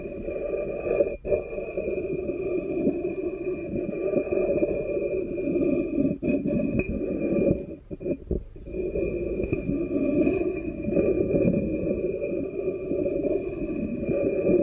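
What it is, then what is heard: Ceramic bowl base rubbed with a wooden spoon. A wooden spoon rubs and taps the glazed base and foot ring of an upside-down black ceramic bowl. There is a steady, dense scraping texture with a faint sustained ringing overtone above it. Brief taps and pauses break the sound, most noticeably near the middle.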